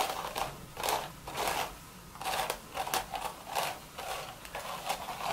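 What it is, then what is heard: Woven straw hat scratched. Long, pointed red acrylic nails scratch in circles over the crown of an empty, upside-down cream woven straw sun hat with a wide brim. The result is a dry, raspy, crackling scratch that swells and fades in repeated strokes, with a midrange body and a bright, hissy top. There is almost no low end.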